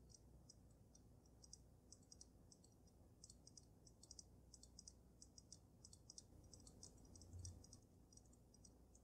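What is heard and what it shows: Fingernails tap rapidly on the glass dome of a water-filled dragon snow globe with glitter. The result is a quiet, steady stream of quick, bright ticking clicks over a low background hum.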